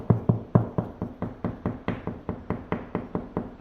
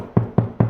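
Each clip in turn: First: Steady knuckle taps on a wall, short and dull with a low thud, sounding solid over a stud. Second: Three low, booming knocks on drywall between studs, each with a short resonant hum: hollow.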